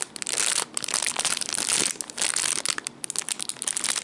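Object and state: Plastic zip bag with cables.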